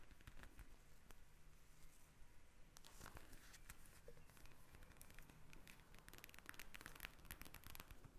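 Long nails tap and scratch a pink eye mask of soft plastic filled with small gel beads, lying flat on a table. Many quick, dry crackling taps and scratchy rustles come through, bright clicks over a low rumble, with no talking.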